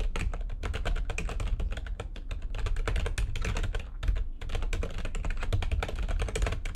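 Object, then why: Plastic computer keyboard. Both hands type fast on a full-size backlit plastic computer keyboard resting on a desk, striking the keys with long painted nails and fingertips. A dense, steady stream of quick tapping clicks is heard over a heavy low thump, with a brief lull near the four-second mark before the typing resumes.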